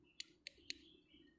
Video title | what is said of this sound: Fock เปิดกล่อง โมเดล สัตว์ดึกดำบรรพ์ | วัสดุเหมือนจะเป็นพลาสติกนะตัวนี้เคาะมีเสียงนะ